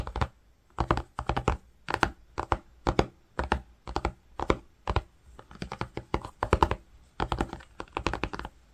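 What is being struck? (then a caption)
Woven cotton fabric. A fingertip rubs and scratches grey-green woven cotton fabric near a seam edge while tracing letters. Quick clusters of dry, muffled scratching strokes come in short bursts separated by brief pauses, with soft thumping low end and little brightness.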